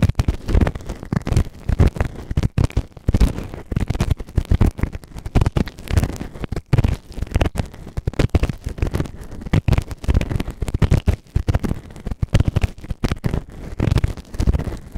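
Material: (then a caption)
Silicone. A white plastic ear tool held in fingertips scrapes inside the ear canal of a soft, solid grey silicone ear-shaped microphone on a round base. The close, scratchy scraping comes as a dense stream of rapid crackles and muffled thumps, heavy in the low end with very little brightness, and runs continuously for the whole clip.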